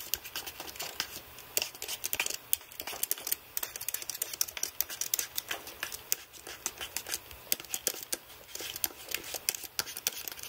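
A white aluminium-framed computer keyboard with plastic keys is pressed and rubbed by fingertips across the rows. Rapid, dense, bright clicks and light rubbing come through in quick irregular bursts. There is almost no low end and no ring after each tap.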